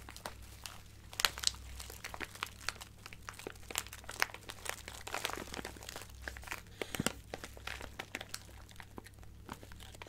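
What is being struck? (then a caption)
Plastic bag filled with acrylic gems. A small clear plastic bag with a cardboard header, full of colorful acrylic craft gems, is squeezed and crinkled with fingertips and nails. Dense, bright crinkling is broken by many short, sharp clicks and crunches as the gems shift inside. A faint, steady low hum runs underneath.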